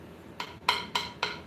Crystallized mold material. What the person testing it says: it's turned into rock it crystallizes so it's almost like ceramic